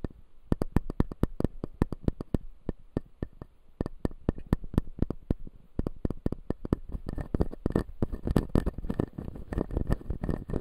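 Fingernails tap and scratch the upper teeth of a clear acrylic full-jaw dental model with white resin teeth. Dozens of quick, dry clicks with almost no ring come in an irregular rhythm. In the last few seconds they give way to denser, busier scratching.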